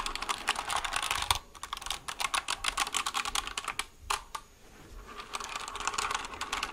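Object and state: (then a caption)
Plastic mechanical keyboard being typed on. A white plastic mechanical keyboard is held sideways near the mic while its keys are typed with fingertips. Quick, bright, clacky key clicks come in fast bursts, with a short pause and a softer lull partway through, each click dying away almost instantly.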